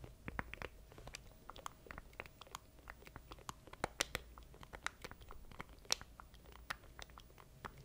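Fingertips tap and click the button keys of a small black plastic stream deck controller held in both hands close to the mic. A quick, irregular run of short, dry, bright clicks sounds over a quiet background, each snapping off with no ring.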